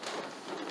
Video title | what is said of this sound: WWII USMC Poncho Restore | it doesn't sound so much like cardboard